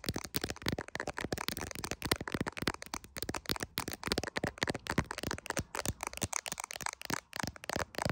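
Long acrylic nails tap fast on the camera lenses and clear plastic case of an iPhone, seen in a mirror, with the nails partly covering the lens at times. The result is a rapid, steady run of short, dry, crisp clicks with no ring, spread from low thumps to bright edges.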